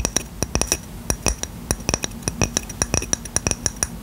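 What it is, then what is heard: Ceramic coaster. A small, round, solid, flat white ceramic coaster, held in one hand, is tapped and scratched with short fingernails and fingertips. About two dozen quick, bright clicks and clinks ring at a high pitch and stop almost at once, over a faint scratchy hiss between taps.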